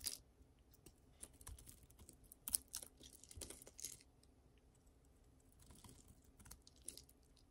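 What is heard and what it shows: A utility knife blade shaves and scrapes a solid, hand-sized oval bar of dry green soap held in one hand, leaving curls and flakes. The clip is quiet, with crisp, bright crunching and scratchy scraping in short bursts, loudest in the first half and softer toward the end.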